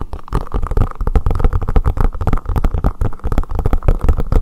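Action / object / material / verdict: tap / silicone collapsible bowl / silicone / none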